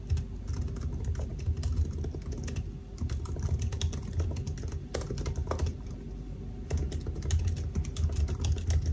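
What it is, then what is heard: Laptop keyboard being typed on. Fingertips of both hands type continuously on the black plastic keys of a silver aluminium laptop keyboard. It's a dense, steady stream of soft clicks and taps with a low, muffled thump under each keystroke and faint bright ticks. The pace eases slightly in the middle before picking back up.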